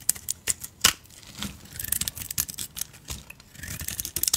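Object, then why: Soap bar scraped by a knife blade. A utility knife blade scrapes flakes off a solid pink soap bar topped with a brown painted spider-web layer, held in the hand. A rapid series of short, dry, bright scraping crackles and clicks is heard, with very little low end and almost no ring after each stroke.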